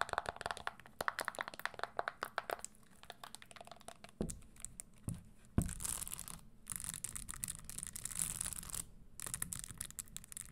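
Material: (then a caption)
Leather. A single empty red Christian Louboutin leather stiletto pump covered in small spikes, with a leather insole, is held in the hand and tapped and scratched over its spikes with long green nails. Rapid clicky taps give way to a few sharper knocks, then longer bright, hissing scratching passes over the spikes.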